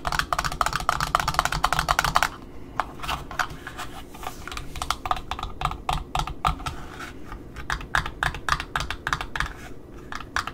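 Long fingernails tap and scratch the cardboard end disc of an Offray black satin ribbon spool, working around the center hole of the disc face. A fast, dense run of crisp, hollow clicks for the first two seconds gives way to sparser, uneven taps with soft scratching between them over a low, steady rumble.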